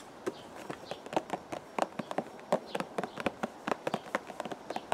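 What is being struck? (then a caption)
Cardboard box. Fingertips tap a hollow purple cardboard teacake box held in the hands, giving 21 short, dry, papery taps with a hollow mid-range knock around 770 Hz. The taps come at an irregular pace over a faint steady hiss, and each one dies away almost instantly.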